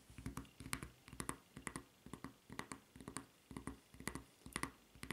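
Long nails tap and scratch on the white rubber footbed of a flip-flop with a red strap. Quiet, irregular clusters of dull low thuds mixed with bright, crisp scratchy clicks repeat roughly twice a second, each dying away almost instantly.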